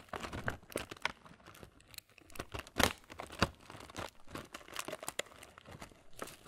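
A printed laminated plastic Kellogg's muesli bag is squeezed and crinkled on its back side with the thumb and fingers. Dense, irregular crackles and crunches come in bursts, with a few sharper, brighter snaps standing out over a quiet background.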